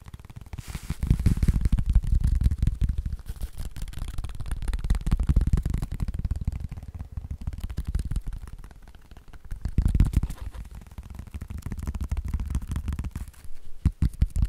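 A hand-sized wrist splint of soft black fabric and foam is held and tapped and scratched with fingertips and nails. The result is a dense, muffled stream of quick, dull taps and rubbing scratches, almost all low in pitch, swelling and fading in waves with short pauses between.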